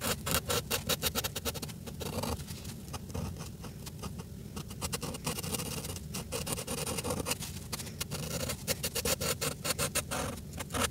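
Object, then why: Felt-tip marker on a paper page. A red Sharpie felt-tip marker colors a sheet of paper in a coloring book held flat on a table. Its tip scratches and rubs across the page in quick, repeated short strokes, with bright scratchy bursts over a steady low hum.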